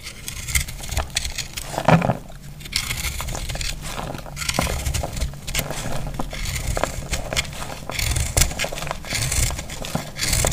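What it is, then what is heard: Dry soap bar, crumbly. A palm-sized, solid heart-shaped bar of dry soap, green and yellow with dark speckles, is held in the hand and cut with a metal utility knife blade. Dense, dry crackling and scraping crunches run throughout, with bright crisp edges over a heavy low body. The soap crushes and crumbles as the blade cuts into it.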